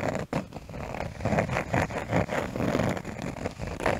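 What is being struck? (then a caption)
Cork surface. A cork surface is tapped and scratched close to a microphone, giving dull, muffled taps mixed with soft rough scratching, mostly low and mid in tone with little brightness. The taps come in quick irregular bursts with short breaks between them.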